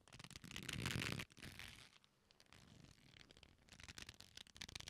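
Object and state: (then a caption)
Leather belt creaking. A black leather belt with a flat solid strap, its folded loops squeezed and rubbed with fingertips, gives off soft creaking and scratchy rubbing. A dense, louder rub builds in the first second and cuts off sharply. It is followed by a quieter stretch and then a run of quick, uneven creaks toward the end.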